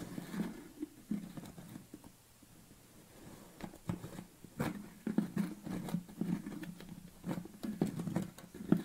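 Fingernails scratch and tap the top of a yellow plastic lid on a tilted red BCAA tub, giving dull, low plastic clicks with a body around 170–200 Hz. The taps come in uneven clusters with brief scratchy passages between them, and a quieter lull falls around the two- to three-second mark.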